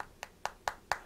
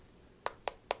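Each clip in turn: First: Four quick, crisp taps with a bright tick near 800 Hz that dies almost at once, like a solid aluminium phone back. Second: Three quick, dry mid-pitched taps that die at once: a plastic phone back rather than metal.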